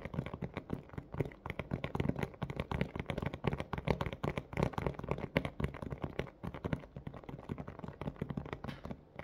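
Both hands tap quickly with fingernails on a large, hollow, thin clear plastic clamshell dome of a blister toy package holding a pink plush toy. The result is a dense, steady run of short, dry, hollow plastic clicks with a low, thumpy body and almost no ring.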